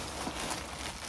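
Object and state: Nothing is struck.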